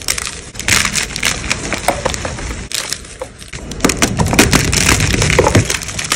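Solid white gym chalk blocks are crushed in both hands with long pale nails, sending fragments and powder falling into a tray. A fast, dense run of dry crunches and crumbling crackles with a bright, gritty texture is heard, with brief pauses between bursts.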